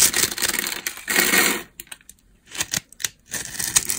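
A utility knife blade scrapes and cuts a solid, palm-size rectangular bar of dry pale yellow soap with a grid-scored surface. Long, bright, gritty scraping strokes give way to short, crisp cutting crackles separated by brief silences, then a final stretch of scraping.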